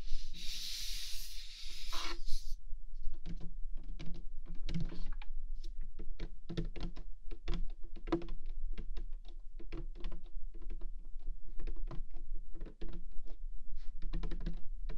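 Long nails and fingertips scratch and tap across the lid of a large printed cardboard Rode NT1 microphone kit box lying flat on a table. A bright, hissy scratch fills the first couple of seconds, followed by a steady run of quick, dry, hollow taps and brief scrapes. A low hum sits underneath throughout.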